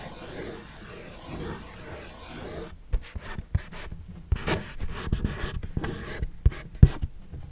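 Fingernails tap and scratch the surface of a medium, flat, hollow orange Kodak-printed cardboard box held upright. A soft, steady rubbing hiss for the first few seconds gives way to irregular dull, low knocks mixed with short scratchy strokes, the sharpest taps standing out near the end.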